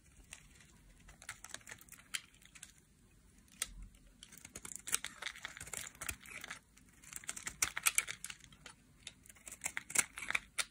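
A solid orange dry soap bar held in the hand is shaved and scraped with a metal utility knife blade, peeling off flakes. The result is a quiet run of dense, crisp, bright scraping crackles and short clicks with almost no low end, coming in bursts that grow busier toward the end.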